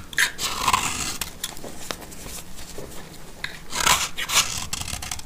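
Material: Soap.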